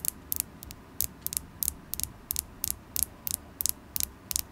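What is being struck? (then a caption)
Polished carnelian stone point. Long glittery acrylic nails tap on a solid polished carnelian stone tower point with a faceted tip. The taps are crisp, bright clicks, often coming in quick pairs or small clusters at an uneven pace. Each one stops instantly with no ring, over a faint low background hum.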